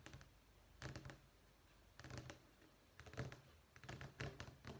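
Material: Vinyl.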